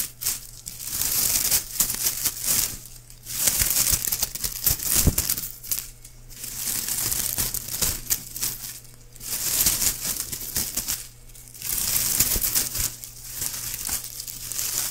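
A loose bundle of thin, white, shiny plastic curling ribbon is held in the air in both hands while the fingertips crumple and rub it. The result is dense, bright crinkling that swells and fades in repeated waves, with a faint steady low hum underneath.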